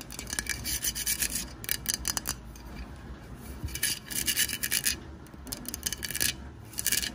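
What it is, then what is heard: Plastic craft pumpkin. Long white nails scratch and rub along the ridged sides and painted lettering of a hollow, orange, plastic craft pumpkin. Bursts of bright, rasping scratches come in quick clusters separated by quieter stretches, over a faint low rumble.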